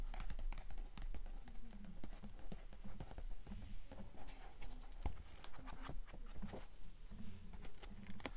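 Long acrylic nails tap and brush across the cream pages of a thick blue paperback book held open, possibly with pages being flipped. A quick, loosely steady run of soft, dull taps mixes with papery brushing. The taps are muffled and low-heavy, with very short decay.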